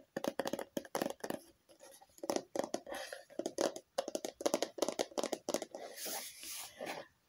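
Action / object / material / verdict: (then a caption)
tap / plastic lotion bottle / plastic / none. A red plastic lotion bottle with a label, hollow inside, is tapped with long fingernails close to the microphone. Quick, crisp clicking taps come in irregular bursts, each with a short hollow tone around 570 Hz. Near the end the sound turns briefly brighter and more scratchy.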